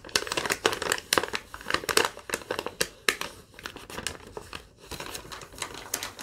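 A crumpled sheet of thin yellow lined paper is crinkled and rubbed with long nails, giving dense, dry crackling. Many quick, bright snaps overlap with scratchy rustling and almost no low end, and each burst dies away almost at once.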